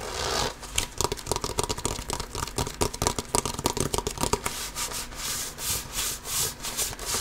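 A full-size inflated hollow basketball with a pebbled composite leather surface is held against the chest and scratched and rubbed with the fingertips and nails of one hand. Quick, dense bursts of bright, dry scratching give way after about five seconds to slower, swelling swishes of rubbing across the pebbled surface.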